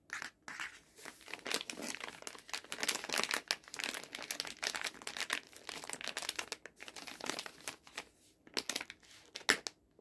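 A hand-sized, soft, flexible plastic pouch full of cleansing face wipes, with a hard plastic resealable lid, is held in both hands while fingertips and nails squeeze and rub its crinkly plastic film. Dense, bright crinkling and crackling come in uneven bursts, with no low-end weight and only brief gaps between them.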